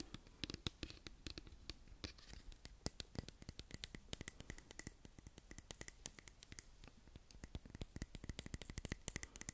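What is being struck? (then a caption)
Plastic pump bottle. A hollow white-and-pink plastic cosmetic pump bottle is held beside the microphone and scratched and tapped with long nails. Rapid, crisp, dry clicks and scratchy strokes follow one another steadily, each dying away instantly over a low, soft rustle. The result is a quiet, continuous patter of sharp plastic taps with bright edges.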